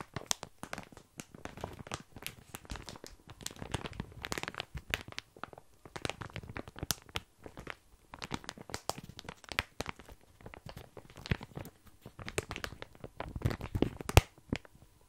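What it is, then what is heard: Plastic bag of dry small pasta. Fingertips scratch and squeeze a full plastic bag of tiny dry pasta held close to the mic, the pasta rustling and shifting inside. Dense, irregular bursts of crinkling and crunching run throughout, each dry and short, with a soft low-end weight under a bright plastic rustle.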